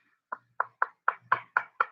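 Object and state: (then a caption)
Piece of wood, wood not stone. A piece of wood that looks like a rock or a beef patty is knocked by hand seven times. Each knock is short and dry, with a hollow, woody tone centred in the mid range and almost no ring. It sounds like wood.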